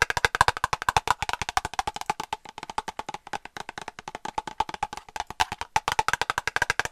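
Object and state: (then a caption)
Plastic cosmetic squeeze tube. A small white plastic cosmetic cream tube, held upright, hollow and partly filled, is tapped rapidly with long nail tips. About 59 short, dry, hollow clicks come in a steady stream, each with a woody knock centered near 1 kHz and almost no ring.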